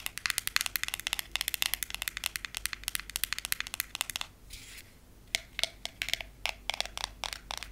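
A long, solid frosted glass nail file is tapped and scratched by fingernails across its surface. Many rapid, bright clicking taps come in dense bursts, then a brief quieter scratchy stretch and sparser taps. The sound is crisp and high with almost no ring or low end.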